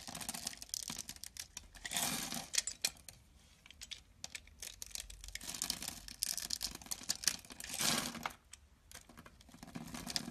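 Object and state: Bar soap being cut.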